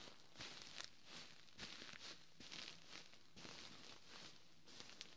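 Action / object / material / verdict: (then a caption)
scrape / fabric-covered pillow / fabric / none. A large, soft white quilted pillow with a ribbed fabric cover is scratched by fingertips and short nails, then pressed and rubbed with the palm. Bursts of bright, hissy scratching rise and fade over a faint low rumble, producing a soft, steady rustle.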